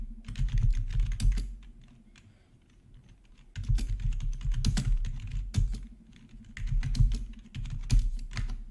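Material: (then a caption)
Plastic. A full-size black plastic membrane gaming keyboard with RGB backlight and a hollow housing, resting on a marble surface, is typed on with the fingertips of both hands. Bursts of quick, dull plastic key taps with a low, hollow thud come in irregular flurries around a quieter pause in the middle.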